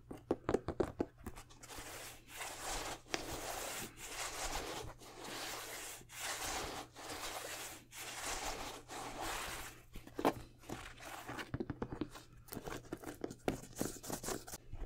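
An empty white Jordan 12 high-top sneaker with a tumbled leather upper is held and turned while fingertips rub and scratch the leather. Quick, sharp scratches and taps open and close the clip, with a middle stretch of steady, breathy rubbing strokes about a second long, separated by brief pauses.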